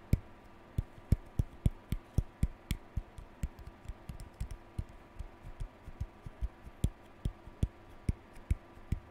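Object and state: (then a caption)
Plastic hairbrush bristles. A lilac plastic hairbrush with pale plastic bristles is held in both hands while a fingertip and nail scratch and flick along the bristles. About 26 short, dry ticks come at a steady, unhurried pace, each with a low thump and a bright click that stops almost instantly. A faint, steady hum sits underneath.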